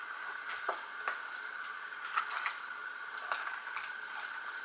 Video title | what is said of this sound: SLIME MAKEOVER using NICKELODEON SLIMES - Kawaii Halloween #29 | it does kind of rattle when you shake it